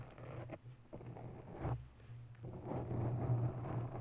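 Long nails slowly scratch the top and sides of a grey oval foam windscreen on a microphone in a white holder. The result is a soft, muffled, low-pitched rubbing and scraping with a steady low drone underneath and almost no high content.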